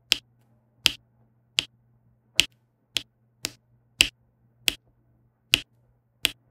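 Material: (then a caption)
Resin. A plastic pen with a pink wax tip taps small resin drills into a row on a flat diamond painting canvas with an adhesive backing. Ten sharp, bright, dry clicks, strongest around 3 kHz, come at an uneven pace of roughly one every two-thirds of a second. A faint low hum sits steadily underneath.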